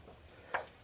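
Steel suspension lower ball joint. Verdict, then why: Loose. A worn, loose steel lower ball joint in an Envoy/Trailblazer suspension is shaken up and down, giving a single short metallic clack around 1.6 kHz that dies away quickly over low background noise. The audible play shows the joint is bad.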